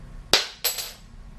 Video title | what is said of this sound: How to Upgrade your guitar - the acoustic version in South Africa | if you drop this on the floor pick it up later it sounds like metal a reason for that is because its carbon infused plastic so it's just very hard